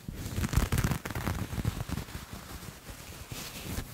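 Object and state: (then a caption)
Knit fabric being scratched. Grey textured knit fabric is gathered in the hand and scratched and rubbed with fingertips and nails. The result is a dense, crackling rustle with a low rumbling body and bright scratchy edges, loudest in the first two seconds before settling into a softer, steady scraping.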